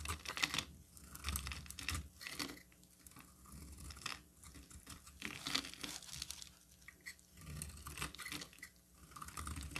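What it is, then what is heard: Bar soap being shaved. A solid pink oval bar of soap, held in the hand, is shaved with a metal utility knife blade, and long pink flakes fall away. The blade makes a series of quiet, dry, bright scraping and crisp tearing strokes with brief crunchy edges, separated by short pauses.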